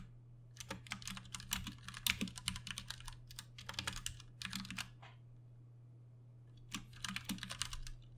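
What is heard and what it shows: Both hands tap with their fingertips on a Ducky One 2 Mini, a compact 60% RGB-backlit mechanical keyboard with plastic keycaps and Cherry MX Brown switches, resting on a desk. Quick bursts of bright, sharp clicks and clacks run for about five seconds, stop for a short pause, then start again. A steady low hum sits underneath throughout.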